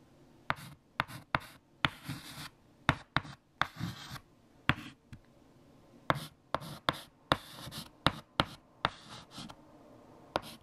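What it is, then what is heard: Chalk writing on a chalkboard. Fingertips hold white chalk and write equations on a large flat black chalkboard. Sixteen sharp, bright chalk taps punctuate bursts of dry, hissing scratching strokes between them. Each tap dies away almost instantly.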